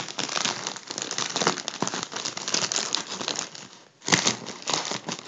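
A makeup brush rubs the crinkled surface of a crumpled, hollow gold mylar foil balloon, producing dense, bright crinkling and crackling with little low end. The rustling runs almost continuously, dips briefly to near silence around four seconds, then resumes with a sharp burst.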